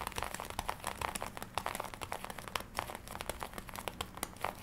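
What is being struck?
Leather jacket.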